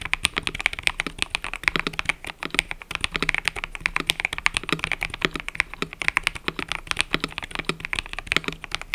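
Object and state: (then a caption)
Mechanical keyboard with plastic keycaps. Fingertips type continuously on a mechanical keyboard with cream and purple plastic keycaps. The result is a steady, dense stream of short, bright clacks, strongest around 2 kHz, with very little low end. Each keystroke dies away almost instantly.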